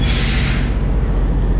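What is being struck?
Nothing is struck.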